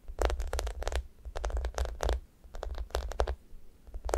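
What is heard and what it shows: Long nails scratch across the sticky top of a thick, solid foam squishy toast. Irregular bursts of crackly, tacky scratching rise and fall over a steady low rumble, with quiet gaps between strokes.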